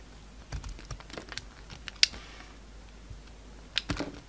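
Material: Soap.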